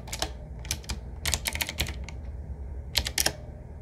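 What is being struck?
Mechanical keyboard with round metal-rimmed keycaps.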